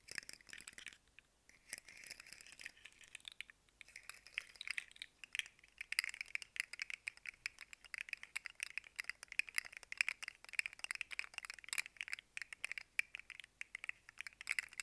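A hand-sized, rainbow-colored segmented plastic fidget slug with hollow, articulated segments is held in both hands and bent and shaken. Its segments produce a dense, continuous stream of sharp, dry clicks and rattles that are bright and high with no low end. The sound pauses briefly near the start, then grows busier and louder.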